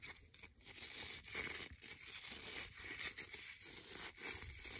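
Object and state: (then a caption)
Wooden bristle brush. Fingertips and nails scratch and rub along the dark stiff bristles and wooden edge of a hand-sized brush with a reddish-brown wooden back. The result is a dense, bright, crackling rasp, almost all high hiss with very little low end, surging and dipping in quick strokes throughout.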